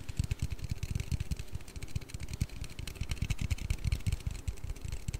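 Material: Aluminium.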